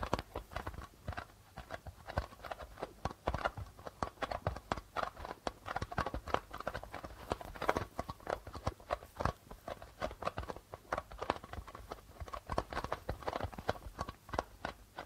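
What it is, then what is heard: Plastic-headed darbuka drum. Fingertips tap quickly across the white plastic membrane of a hollow darbuka drum in a fast, galloping rhythm. The taps are short and dry with almost no ring, giving a dense stream of muted, hollow clicks centered in the mid range with some low thump.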